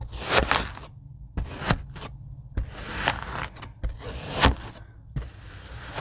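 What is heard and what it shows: A handheld rocker blade cuts lines into packed beige kinetic sand in a tray. It makes a series of short, gritty, crunching scrapes with bright, hissy detail over a low rumble, separated by quiet pauses.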